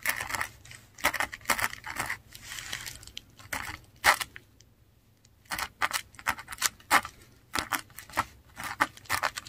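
A metal dip pen nib writes letters on a flat sheet of textured Korean paper. It makes quick, bright scratching strokes and light taps in irregular bursts, with a short quiet pause midway. The strokes are dry and crisp, with little low end.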